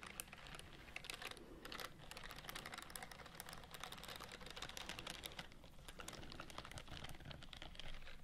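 Long fingernails scratch and tap along the bristle rows of a white silicone scrubbing glove worn on the other hand, held close to the mic. The result is a steady stream of quick, crisp ticks and bright scratchy rasps over a soft low rumble, with no pauses and the sharp clicks fading almost instantly.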